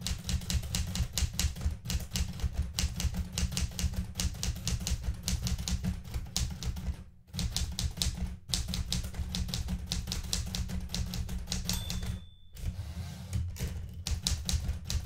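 Red-painted fingertips type quickly on the plastic keys of a blue metal manual typewriter, making a steady run of sharp clacks with a low, thumping body and bright metallic snaps. The typing pauses briefly a few times before the right hand reaches for the carriage return lever at the end.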